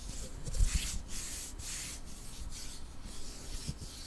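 A long, flat, solid light-wood ruler is held in both hands while nails and fingertips rub and scratch along its surface. The result is a soft, continuous scraping with bright, breathy strokes that swell and fade, plus a few low thumps near the start.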